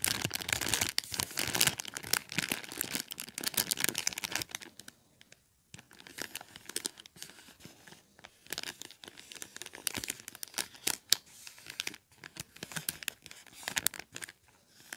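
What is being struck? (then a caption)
Paper gift bag with plastic window, filled with popcorn. A small white paper gift bag with red stars and a clear plastic star-shaped window, full of popcorn, is held in both hands and crinkled and rubbed with fingertips and short painted nails. Bright, dry crinkling and rustling is dense for the first few seconds, then drops to near silence for a moment before returning in irregular bursts of crackles.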